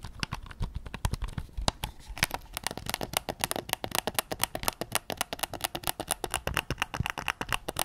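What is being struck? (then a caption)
Plastic game controller. Fingertips tap a white PS5 controller made of hollow plastic, striking its face, touchpad and grips. A steady stream of quick, dry clicks and knocks follows, each dying away almost at once. Around the two-second mark the taps turn faster and brighter.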